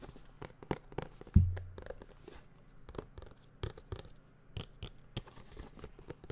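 A white printed cardboard tablet box, medium-sized, hollow and closed, is held close and tapped rapidly with fingertips and nails. This gives a quick, uneven series of soft, hollow clicks and taps, mostly low and dull, with one heavier thump early on that briefly booms.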